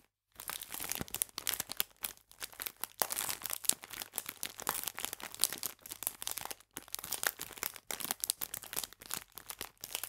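A clear plastic bag full of biscuits is squeezed by fingertips, giving dense, bright crinkling with a slight crunch. Many quick, sharp crackles overlap with short pauses between them.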